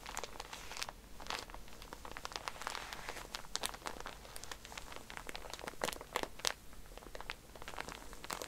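Fingertips and nails scratch and press the plastic wrapper of a pack of cotton pads, first lying flat and then held up. The result is a steady crinkle with sharp, bright clicks and crunches scattered throughout, over a faint low hum.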